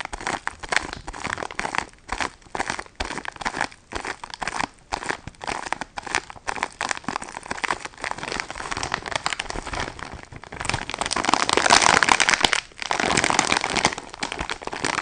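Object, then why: Sponge pack in crinkly plastic wrap. Fingernails tap and scratch the crinkly plastic on the back of a filled, plastic-wrapped sponge pack held in both hands. The result is a fast, irregular run of sharp, bright crinkles and clicks. It swells into a denser, louder scratching stretch near the end.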